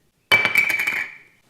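A minus 1.50 polycarbonate eyeglass lens gives a high-pitched, clicky sound like a poker chip, a quick run of bright clinks with a steady tone near 2.3 kHz. The sound fades over about half a second, the normal distinct sound that identifies polycarbonate.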